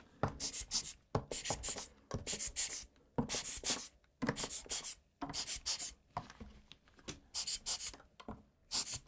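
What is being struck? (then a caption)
Plastic mechanical keyboard with exposed switches. A gloved hand scratches and brushes between the exposed brown switches of a full-size black plastic mechanical keyboard with its keycaps removed, using a blue-tipped brush. Bursts of dry, bright bristle scratching come in short, irregular strokes separated by brief pauses.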